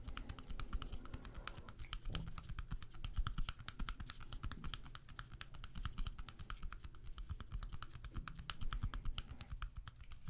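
A small deck of coated-paper playing cards is held in both hands while the fingertips rapidly riffle and flick the card edges. The result is a steady stream of many quick, dry clicks, and each click dies away almost at once. A low, soft rumble runs underneath.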